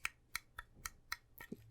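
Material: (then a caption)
Die-cast metal. Six light taps land on the die-cast metal saucer section of a hand-sized Eaglemoss USS Shran NCC-1413 Magee-class starship model sitting in its stand; the ring around the saucer is plastic. Each tap is a short, bright, high-pitched click that dies away almost instantly.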